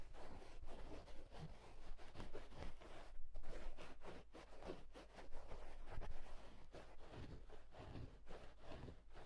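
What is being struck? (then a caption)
Wool tweed hat. Fingertips rub and scratch the inside edge of the hollow, soft crown of a green and black houndstooth wool tweed fedora. The result is a quiet, continuous stream of fast, dry scratching and rustling strokes that swell and fade over a steady low hum.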